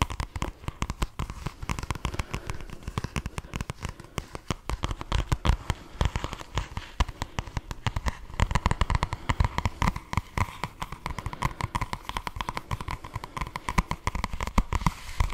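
Fingernails tap and scratch the paper cover of the paperback book "Joc Brut," held upright close to the microphone. A rapid, continuous stream of dry, crackly taps and scrapes runs throughout, with a heavy low-end thump to each close contact and a faint papery hiss above.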